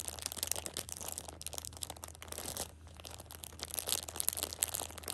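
A plastic-wrapped six-pack of pocket tissues is held at the edge while a thumb with a long nail presses and crinkles the plastic film. Dense, bright crackling and crinkling continues throughout with many sharp, short snaps, dipping briefly before growing louder again, over a faint low steady hum.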